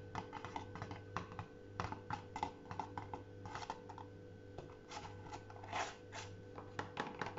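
A small folded card-paper tent desk calendar on a tiled shelf is tapped with fingertips, then lifted, flexed and bent in the hands. Quick, dry paper taps mix with soft crinkles over a steady low hum, each sound dying away almost at once.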